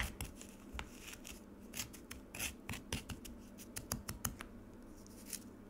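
A metal spoon scrapes the surface of a frozen lemonade slab in a black plastic tray, piling up slushy shavings. A quick series of short, bright, crunchy scraping strokes sounds over a steady low hum, each stroke dying away almost instantly.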